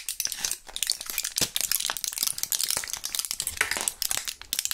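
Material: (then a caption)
Plastic. Gloved fingers crush a small, partly empty clear plastic blister pack of Thrills gum with a foil backing, pushing the remaining purple pellets out through the foil. Dense, bright crinkling and crackling runs steadily throughout, made of many quick, sharp snaps with almost no low end.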